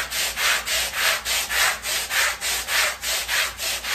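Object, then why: Small woven fabric rug scrubbed with a bristle brush. A long-handled black bristle brush scrubs back and forth across a small, wet, foamy, flat woven fabric rug. Each stroke makes a bright, hissing, bristly swish, repeating in a steady rhythm of about 100 strokes per minute with short dips between strokes.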